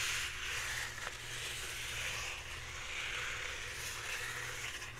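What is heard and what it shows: A full roll of white embossed paper towels, held upright, is scratched and rubbed along its surface by red-painted fingernails. The result is a steady, bright, crackling scratch concentrated around 2 kHz and above, continuing without distinct breaks over a faint low hum.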